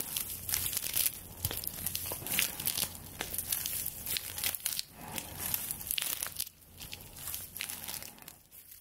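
A straw broom held above the mic while long nails scratch and rub the bound straw stalks of its handle. A dense run of dry, bright crinkling and scraping with short crackly bursts carries mostly high-frequency energy over a faint low hum.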